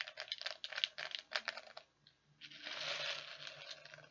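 Fingers dig into and stir many small plastic perler beads inside a clear plastic tub. A quick run of sharp, bright clicks and rattles is followed by a brief lull, then a steady, dense rustling wash as the beads are churned.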